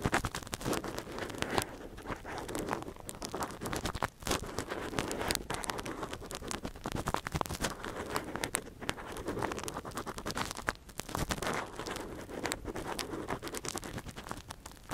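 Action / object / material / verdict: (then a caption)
scrape / silicone ear model and metal earpick / silicone / none. A thin metal earpick held in a gloved hand scratches inside the ear canal of a hand-sized soft silicone ear model, a binaural microphone ear held steady. Close, dense scraping and crackling rasps run continuously, with brief dips in between. The sound stays soft and intimate, with little low rumble.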